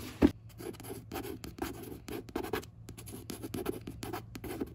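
Quick, dry fingertip scratches rasp across a glossy paperback cover, with one sharper tap at the start.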